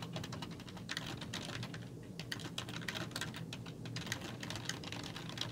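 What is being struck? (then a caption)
Plastic computer keyboard. Fingertips with long nails type rapidly on a black plastic computer keyboard with hollow keys. A dense stream of bright, clicky taps with short, sharp attacks rides over a steady low hum, with no pause in the typing.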